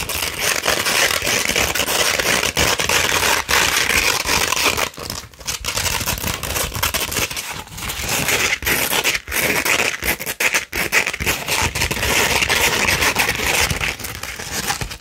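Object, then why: Coarse sandpaper sheet scratched with fingernails. A coarse 60-grit sandpaper sheet, held flat, is scratched with long red nails. The result is a steady, dense, gritty scraping with a bright, hissy edge, broken only by a few brief pauses between strokes.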